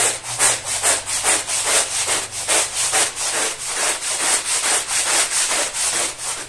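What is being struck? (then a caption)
Woven fabric rug scrubbed with a plastic-bristle brush. A long-handled plastic-bristle brush scrubs a small, wet, muddy woven fabric rug covered in lather on a tile floor. Steady, rhythmic back-and-forth strokes, about two per second, make bright, hissy, wet swishes with almost no low end.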